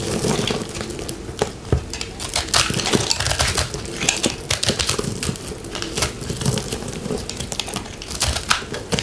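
A fist-sized, round, multicolored ball of pressed soap flakes is held in the hand and scraped and cut with a metal knife blade. A dense run of dry, crumbly crunches and bright crackling scrapes continues throughout, with short, sharp bursts over a low rustle.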